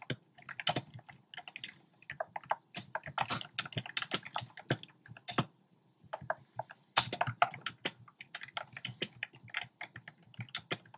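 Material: Plastic.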